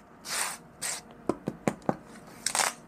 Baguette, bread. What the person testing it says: ça sonne le creux on a entendu qu'il ya une belle croûte fine